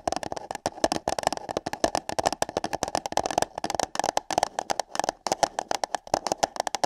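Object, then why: Paper cup. Long nails rapidly tap and scratch on hollow paper cups placed over a microphone's ears. The result is a dense stream of sharp, dry clicks with a hollow midrange tone around 660 Hz and bright edges. Each click fades almost instantly, in a quick, uneven rhythm.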